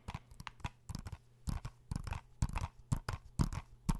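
A blue plastic PS4 game case is held in both hands while fingernails tap and scratch across it. The result is a quick, irregular run of short, dry taps, each a soft low thump with a bright clicky edge that dies away almost at once, with faint scratching between them.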